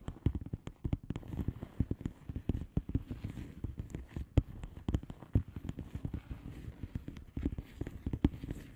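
Long polished nails on both hands tap and scratch the bubbles of a flat padded envelope with a plastic bubble wrap surface. Dozens of quick, dry, low-pitched taps come in an irregular stream, with soft scratching between them.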